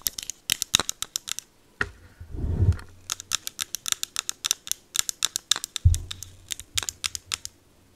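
A small 80 ml light green plastic e.l.f. setting mist bottle with a clear cap is held in hand and tapped and scratched with long acrylic nails. Around forty quick, bright clicking taps are heard, with a short, low scratching rub near the two-and-a-half-second mark and a couple of dull low thumps.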